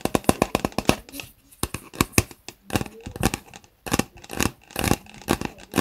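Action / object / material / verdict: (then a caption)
tap / plastic cup with lid / plastic / none. Fingertips tap and scratch along the sides of a hollow white plastic Starbucks reusable cup with a lid, standing on a desk. Around two dozen quick, dry taps come in rapid bursts with brief pauses between them. Soft scratching fills the gaps, and the taps have almost no ring.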